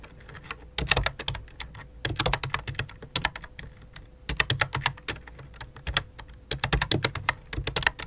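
Both hands type rapidly with the fingertips, and medium dark-painted nails, on a full-size white and light-blue plastic membrane keyboard with a hollow plastic body resting on a black cloth. Bursts of quick, bright, clicky taps come in clusters separated by short pauses, with a faint steady low hum underneath.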